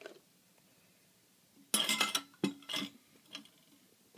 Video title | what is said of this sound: Cryocooler Air Liquefier | sounds like some stuff is sloshing around in there so I think we have liquefied something